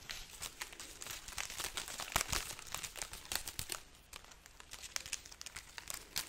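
Long nails scratch and rub a hanging garland of papery, hollow dried red chili peppers. This gives a dense stream of bright, dry crinkling and crackling with sharp little clicks. There are a few louder snaps around the middle.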